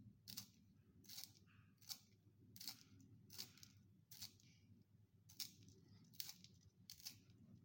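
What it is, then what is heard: Wooden pencil being sharpened. A solid wooden pencil is twisted by hand in a small yellow plastic sharpener with a metal blade, shaving off curled wood shavings. About nine short, bright scraping bursts come at uneven intervals over a low, steady background hum.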